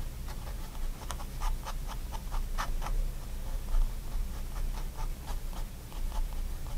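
A fine-tip pigment liner pen makes small hatching strokes on a spiral-bound white paper sketchbook lying flat on a wooden desk. Quick, dry scratches tick out in an irregular rhythm, each bright and brief, over a steady low hum.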